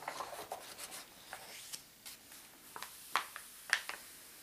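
Fingertips and a palm rub and slide across the coated paper pages of a large open atlas, spread to the Time Zone Map / Legend. A quiet, dry, papery brushing continues throughout, broken by irregular short, crisp scuffs that are brighter and louder toward the end, with no low rumble.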